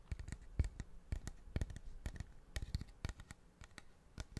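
A large, curved, hollow polished cattle horn is held close to the microphone and tapped and scratched along its surface with fingertips and nails. It gives a quick, irregular run of short, dry taps with dull low thumps and faint bright clicks, plus soft scratching between them. Each tap dies away almost instantly.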